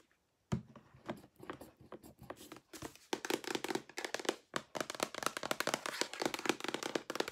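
A large white plastic lotion bottle with a pump top, hollow and probably partly full, is tapped with long painted nails on its side and pump. After a brief silence, a sharp tap starts a run of quick, dry, clicky taps with almost no ring, growing louder and denser from about three seconds on.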